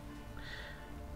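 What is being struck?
Nothing is struck.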